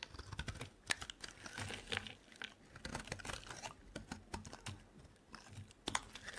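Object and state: Dry bar soap being carved.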